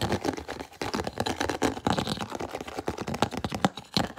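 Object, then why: Clear plastic food container with plastic lid. Fingernails rapidly tap and scratch an empty, hollow, clear plastic food container with an orange-rimmed lid as it is held and turned in both hands. Dense, quick plastic clicks and scratchy rustles run throughout, each tap short and dry with almost no ring.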